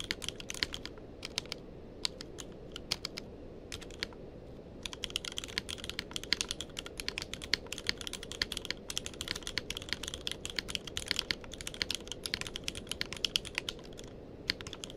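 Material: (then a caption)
Plastic. Both hands' fingertips type continuously on a tenkeyless mechanical keyboard with plastic keycaps. Rapid, bright, sharp key clicks come in irregular bursts with a brief pause near the start, over a low, steady background hum.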